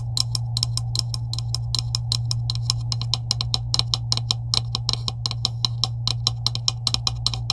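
A hand with long acrylic nails taps rapidly on the middle section of a green, hollow plastic PVC pipe with couplings. Each tap is a short, bright click that dies away almost instantly. A steady low hum runs underneath throughout.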